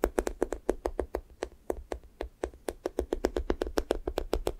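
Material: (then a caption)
Foam. Fingertips and nails tap and poke the pink sticky top of a thick strawberry toast squishy toy made of soft, solid foam. Twenty-nine quick, soft, dull taps sound in a steady, uneven rhythm, each with a low-mid thud and a faint bright click that dies away almost at once.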